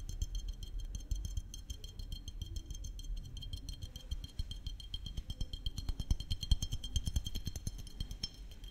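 Fingertips and nails tap the body of a small glass maple syrup bottle with a red cap and label, held close to the microphone. The result is a dense, rapid stream of short, dry clicks over a low rumble, with a faint bright glassy ring that grows clearer and more evenly spaced in the second half.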